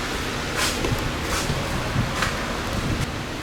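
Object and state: Nothing is struck.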